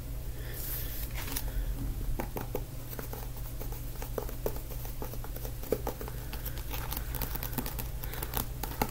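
Many soft, short fingertip taps with no ring at all, some with a crisp papery crinkle, sit on top of a constant low hum in a small room. It sounds like a paperback's card cover under the fingers: light, dry, and damped by the pages behind it.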